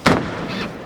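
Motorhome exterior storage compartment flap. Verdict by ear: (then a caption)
Solid. A bus-style exterior storage compartment flap on a Niesmann+Bischoff Flair 920 motorhome is slammed shut. It gives a single full, solid thud with a low body that dies away quickly. The flap closes firmly with the deep, well-insulated sound expected of it.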